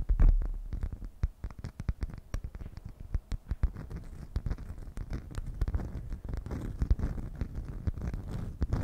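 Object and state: Beeswax food wrap.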